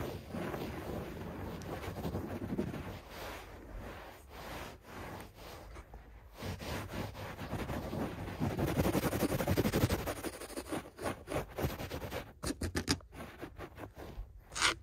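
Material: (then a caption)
Carpet fibre. Fingertips rub and scratch a beige shag carpet on the floor. A dense, fuzzy rustle of brushing fibers rises in the middle, then breaks into quick, choppy scratches with short gaps toward the end.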